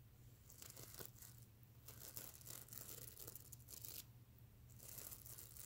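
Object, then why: Plush pillow covered in plastic sequins. Fingernails scratch across a soft stuffed mermaid unicorn plush pillow covered in reversible plastic sequins, flipping the sequins back and forth. Bright, dry rasping and crinkling bursts come in waves over a steady low hum, with brief quieter gaps between the strokes.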